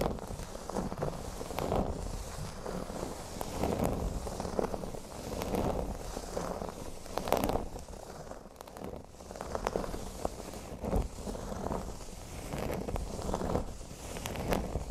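Fingernails scratch the surface of a flat, thin, speech-bubble-shaped cork board lying solid on a table. They make a steady, dry, crackling rustle that swells and eases in rhythmic strokes about every two seconds. The scratching sits mostly in the low and middle range with little bright edge.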